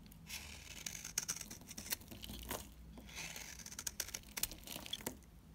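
A utility knife blade shaves and scrapes a solid, dried cream bar soap, producing a quick run of dry, bright scratching and crisp, crackly cuts. Sharp little clicks stand out over a soft, hissy scrape as powdery crumbs break away.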